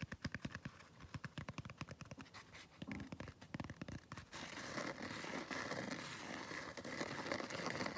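Fingernails scratch across the rough surface of a palm-sized, blue textured foam scrub sponge. It begins as quick, separate rasping strokes for about four seconds, then becomes a continuous, dense, hissing scratch.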